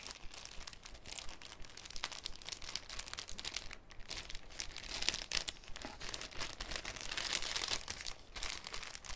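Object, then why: Thin cellophane sheet. A large, thin, clear cellophane sheet held over a wooden table is crinkled, bent and flexed by bare fingertips. It gives a dense, irregular stream of bright, crisp crackles and crinkles with no ringing, swelling in loudness around the middle and near the end.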